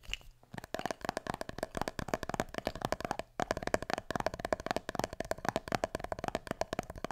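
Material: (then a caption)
Glass, metal. Fingertips scratch and tap the metal lid and glass sides of a small glass jar partly filled with small items. Dozens of quick, dry clicks come in a rapid stream, each with a brief mid-pitched tone near 630 Hz that dies away almost at once. The tapping pauses briefly around the midpoint, then resumes.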